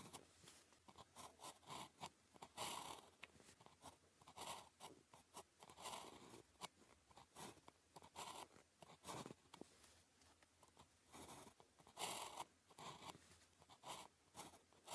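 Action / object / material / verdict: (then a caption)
scrape / ballpoint pen on thin paper sheet / paper / none. The tip of a blue plastic ballpoint pen, held in the fingers, writes Chinese characters on a thin grid-printed paper calligraphy practice sheet lying flat on a desk. Continuous scratching strokes come in short, quiet bursts with a dry, bright, papery rasp. Each stroke stops quickly with little ring.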